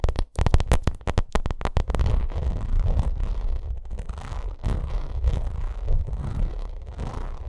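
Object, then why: Vinyl cosmetic bag. Long nails scratch the front and top edge of a white, bumpy, textured vinyl makeup bag. A quick run of sharp, separate taps opens the clip, then gives way to steady, dense scratching. The sound is a deep, low rumbling texture with little brightness.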